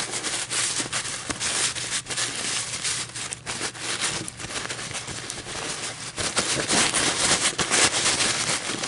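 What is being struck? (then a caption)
Paper coffee filter. A crumpled, empty white paper coffee filter is held and gently crinkled and rolled with long metallic nails. It makes a steady, bright, papery crackle and rustle with scattered sharp ticks that swell and fade throughout.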